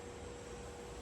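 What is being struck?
Nothing is struck.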